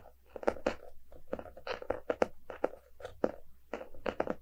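Fingertips and short nails of both hands tap and scratch the paper-covered cardboard cover of a closed, solid hardcover book lying on a rug. It makes a quiet, uneven run of dry, crunchy taps with a hollow midrange knock around 500 Hz, mixed with short scratchy strokes. Each tap dies away almost instantly.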